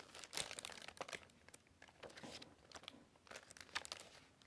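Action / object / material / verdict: scrape / glossy paper pages of a hardcover book / paper / none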